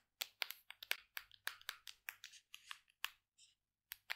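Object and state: Plastic supplement tub.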